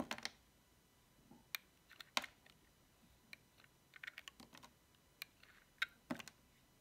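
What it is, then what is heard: Dry soap bar being cut. A small, solid cream-white bar of dry soap decorated with cats and paws is held in fingers with long painted nails and shaved and cut with a metal utility knife blade, peeling off curls of soap. A scattered series of short, dry, crisp clicks and scrapes sounds, mostly bright, each dying away almost at once against near silence.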